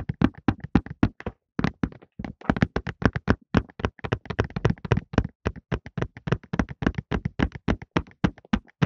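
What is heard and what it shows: A cardboard Softlan tissue box with tissues inside is held in both hands and tapped with fingertips. About 47 short, dull, hollow taps come in quick, uneven bursts, weighted toward low thumps, each dying away almost at once. There are brief pauses near the start.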